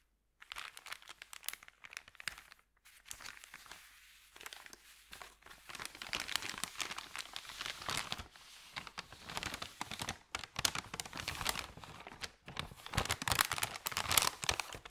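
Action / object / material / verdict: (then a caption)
scrape / thin paper bag / paper / none. Fingertips of both hands press and rub across a long, flat, thin, empty white paper sandwich bag lying on carpet. The result is dense, bright crinkling and rustling with rapid crackles, broken by brief quiet pauses. The crinkling grows louder and busier toward the end.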